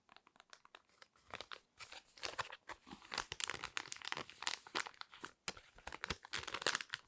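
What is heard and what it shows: A small, flat, yellow foil-laminate sheet mask sachet, sealed and full, is crinkled and scratched with long red nails. Quiet, bright crackling and scratchy rustling come in rapid irregular bursts, with short pauses between clusters and almost no low end.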